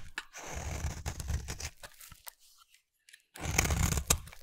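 A solid rectangular cream bar soap, held in the hand, is scraped along its edge with a utility knife blade. Dense, crunchy tearing scrapes come in quick uneven strokes with a heavy low body and a bright, hissy top. They fade to near silence for a moment, then return louder.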